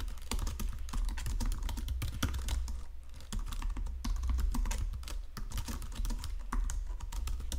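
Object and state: Plastic computer keyboard being typed on.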